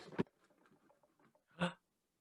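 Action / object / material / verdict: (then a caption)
shake / box holding a bowl and chopsticks / wood / none. A box holding a bowl and chopsticks is shaken so children can guess its contents by sound, giving two sharp rattling bursts with soft clattering and shuffling in between. The clatter is short and dry, mostly low to mid in pitch with little brightness.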